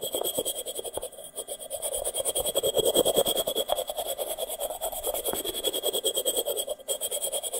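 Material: Terracotta.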